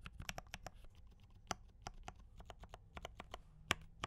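A compact D84 mechanical keyboard with brown switches and cream and red plastic keycaps is typed on continuously with the fingertips of both hands. The result is a quiet, steady run of sharp, bright clacks with a light low thump under each keystroke, each dying away almost instantly.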